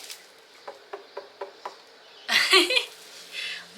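A watermelon at a store sale is tapped by hand to judge its ripeness by sound, giving a quick series of short, dull knocks with a low-mid tone and very little ring. A louder, brighter burst of sound follows, and the taps leave the ripeness unclear.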